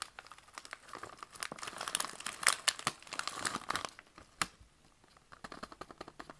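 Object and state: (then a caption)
Plastic candy bag being crinkled. A partly filled green plastic candy pouch held in both hands is squeezed, crinkled and rubbed with the fingertips, making bright, dense crackling that builds to its loudest in the middle. After a short sharp crinkle the sound drops to a near pause, then resumes as lighter, scattered crinkles.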